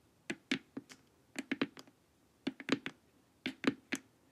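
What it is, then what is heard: Hollow plastic face mask. Long nails tap the edges of a glossy, hollow plastic LED face mask, making crisp, dry clicks with a hollow low body and a bright top. The taps come in four short, irregular bursts of a few taps each, with each click dying away almost instantly into quiet.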